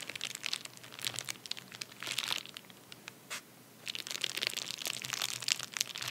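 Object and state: Paper bubble mailer being rubbed.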